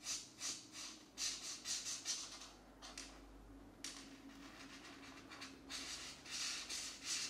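A green felt-tip marker scratches and rubs back and forth across a paper mandala coloring book page, filling in an area. Bright, hissy strokes come in quick, uneven bursts, with a brief quieter stretch midway, over a faint low hum.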